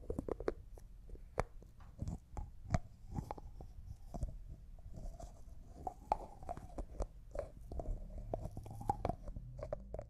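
A small, empty, clear glass cosmetic jar with a white plastic lid is twisted and tapped with fingertips and nails. The result is a quick, uneven run of short, dry clicks and taps over a soft low rumble, with a faint squeaky tone as the lid turns.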